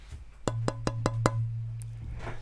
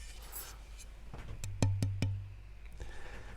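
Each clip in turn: First: rosewood fretboard blank with a good, resonant tap tone. Second: ebony fretboard blank tap tone.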